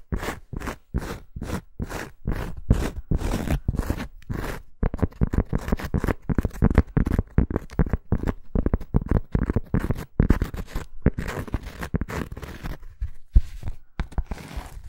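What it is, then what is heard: Cork coaster. Fingernails scratch a thin round cork coaster, with the fingertips resting on its surface. Short, dry, crunchy scraping strokes come in a steady rhythm at first, then grow denser and more uneven, with a heavy low-end texture and no ring after each stroke.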